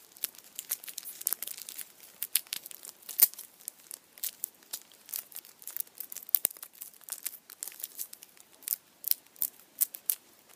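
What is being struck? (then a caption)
Chocolate bunny in aluminium foil. The printed aluminium foil around the head of a Kinder chocolate Easter bunny is squeezed and crinkled with fingertips. It makes a quiet, steady run of sharp, bright crackles and rustles that come in irregular bursts, with almost no low end and no ringing after each crinkle.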